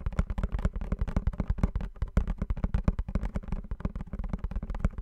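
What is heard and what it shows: Fingernails tap and scratch quickly across the surface of a small blue printed cardboard perfume box held in both hands. The result is a rapid, dense run of short, dull taps, heavy in the low end, each dying away almost instantly, with light scratching between them.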